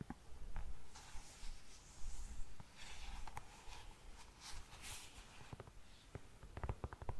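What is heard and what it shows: Long nails tap the toe and upper of an empty, glossy black patent leather pump. The soft, dull taps are mostly low and thumpy with brief bright clicks, set against a faint rustling hiss. The taps quicken into a tight cluster near the end.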